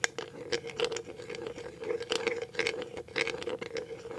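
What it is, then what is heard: Clear plastic jar, tapped and scratched. Paper clip nails scratch and tap the bottom and label of a clear plastic cashew jar, making quick, light clicks and rattly scrapes. The bright, dry taps die away almost at once, over a steady faint hum.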